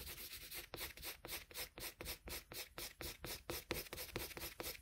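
A colored pencil held in a metal extender shades a flat sheet of drawing paper with quick rubbing strokes, about twenty of them at a steady back-and-forth pace. Each stroke is a soft, bright, papery scratch that stops quickly, with little low end.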